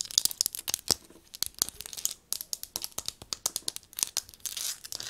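Long nails rapidly tap and scratch the body of black metal and plastic binoculars with a leather strap, held in the hands and resting on a table. A fast run of sharp, bright clicks mixes with dry scratchy rasps, almost all high-pitched with no low thump and no ring after each hit.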